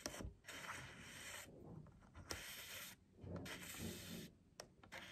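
Long nails scratch and tap the surface of a stiff cardboard book cover with a printed pattern, held upright on a table. Soft, bright rasping strokes come in bursts separated by brief pauses, with a few sharp clicking taps cutting through at a low overall level.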